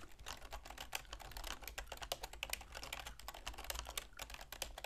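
Long manicured fingernails and fingertips type rapidly on a full-size black plastic computer keyboard with a silver plastic frame, resting on a wooden desk. Quick, bright, clicky key taps come in a dense, uneven stream with very short decays, over a steady low hum.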